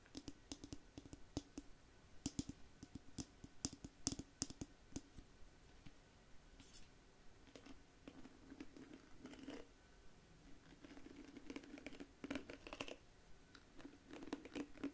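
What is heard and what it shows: Long manicured nails scratch and flick the dense, flexible plastic bristles of a small pink-and-black plastic detangling hairbrush held in one hand close to the mic. The result is a quiet, irregular run of sharp, dry clicks and bright scratchy ticks that stop instantly, over a faint steady low hum.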